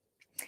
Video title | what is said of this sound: CommUnity CEOs Member Cooking With The Ridgways Takeover Social Mediea | when you tap on it, if it sounds hollow, it's done